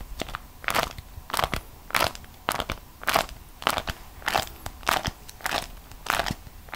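A single folded beeswax food wrap, a thin, flexible waxed cotton sheet printed with vegetable drawings, is held in both hands and squeezed and bent with the fingertips and long acrylic nails. It makes dry, bright crackling and crinkling bursts that come in irregular waves, with quiet gaps between and very little low end.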